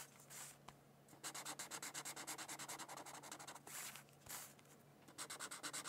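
An orange Crayola felt-tip marker rubs back and forth over the center of a thin white paper mandala coloring sheet lying on a book. The sound is a quick, bright scratching in two bursts of rapid strokes. The bursts are separated by softer, hissing pauses.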